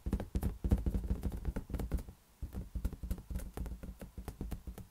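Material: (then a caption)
Latex rubber. A large, hollow, air-filled green latex balloon is tapped rapidly with fingertips, producing a run of deep, muffled, boomy thuds with very short decay. The taps come in quick, uneven bursts, with a brief quiet gap in the middle before the tapping resumes.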